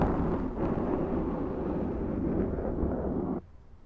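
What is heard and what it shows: A large round black foam windscreen on a Zoom microphone is scratched by the long nails of both hands. The result is a dense, muffled, low rumbling rustle that stays steady for about three and a half seconds, then drops off abruptly to near silence.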